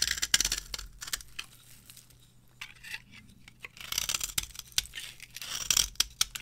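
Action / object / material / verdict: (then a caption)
scrape / bar of soap scraped with a metal blade / soap / none. A metal blade scrapes and carves the surface of a solid, palm-sized orange bar of varnished dry soap into shavings. The sound is bright, crisp scraping and crackling, with short, sharp ticks. Busy bursts at the start and end frame a quieter, sparser stretch in the middle.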